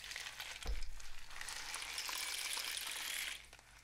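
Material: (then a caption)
Cardboard. A long, hollow, painted cardboard rain stick with mesh-wrapped ends, filled with loose grains, is tilted upright and then held horizontally so the filling cascades through the tube. A soft low thump early on gives way to a dense, bright, sizzling patter of falling grains that swells and holds steady, then fades away near the end.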